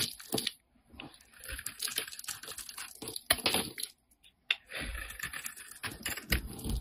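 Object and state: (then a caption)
Bar soap being shaved. A solid peach-orange Lux bar soap held in the hand is shaved with a wide utility blade, peeling off thin flakes. Bright, crackly scraping comes in bursts, with short silent pauses between strokes.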